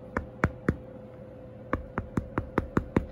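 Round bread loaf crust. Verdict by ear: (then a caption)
Hollow. Knocks on the top of a freshly baked golden-brown Russian round loaf to test doneness: three knocks, a pause, then seven more in quicker succession. Each is a short, dull, low thud with almost no ring. The hollow sound means the bread is baked through.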